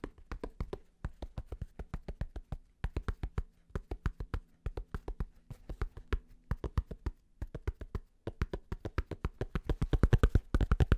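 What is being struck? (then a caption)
Fabric snapback cap with stiff flat brim. A black snapback cap with a flat purple underbrim is held upside down while fingertips and nails tap fast on its stiff flat brim. The result is a rapid, uneven run of short, dull, low thuds with almost no ring, growing louder toward the end.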